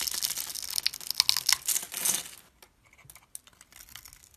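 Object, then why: Bar of soap. A blade scrapes pre-scored cubes off a solid orange bar of soap held in the fingers, making a dense, bright, crackly scraping for about two and a half seconds. The small cubes then crumble away in quieter, scattered high ticks and crinkles.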